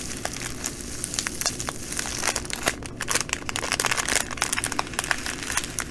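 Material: Plastic, glass.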